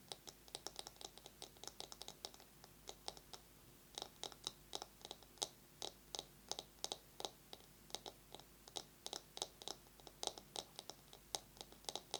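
Long nails tap fast on a bamboo massage brush, with a little scratching mixed in. It makes a steady run of sharp, bright clicks that die away almost at once. The clicks sit over a quiet, low background hum.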